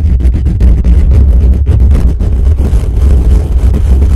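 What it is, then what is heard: Metal mesh microphone grille. Fingertips of both hands scratch and tap quickly on the hollow metal mesh dome grille of a desktop microphone. The result is a dense, continuous low rumble of muffled thumps and scraping, almost all of it deep bass with no bright top end.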